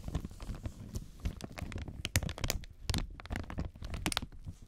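Gloved fingertips scratch, rub and crinkle loose clear plastic protective film lying over the black panel of an audio mixer. The result is a dense run of soft crinkling and crackling with sharp, bright ticks over a low, rumbling handling noise.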